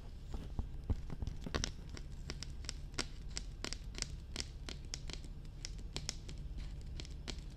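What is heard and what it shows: Long red nails tap and scratch on the top and sides of a hollow, glossy black hard plastic dummy head microphone. Quick, sharp clicks scatter irregularly over a steady low rumble, with soft scratchy textures between the taps.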